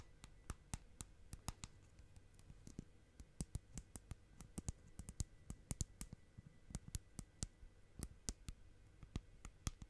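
Long nails tap on the lid and side of a small round clear plastic tub filled with bubbly purple slime. About 33 short, dry, bright clicks come in an uneven rhythm over a quiet low background hum, each fading almost instantly.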